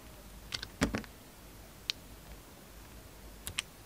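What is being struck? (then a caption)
Soap flower cut with a metal blade. A metal utility knife blade slices and scrapes petals off a solid pink pastel soap rose held in the fingers. Seven short, crisp cuts and snaps are heard in uneven bursts, with bright clicky edges and one fuller, heavier cut near the start. Each dies away almost instantly over a quiet background.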